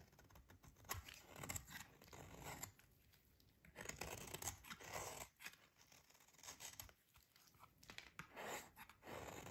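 A metal utility blade scrapes and shaves a solid, dry, pink rectangular bar of soap held in the hands. The result is a series of crisp, bright scraping and crunching bursts with short pauses between them, plus a faint low rumble underneath.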